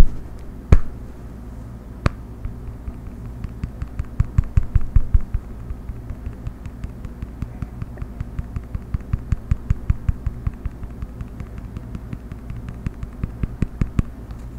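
A round, solid, flat cork coaster with a small label on the back is held in both hands and tapped and scratched with the fingertips and nails. Soft, dull, short taps come in an uneven stream, with a few sharper clicks and light scratching. A steady low hum sits underneath throughout.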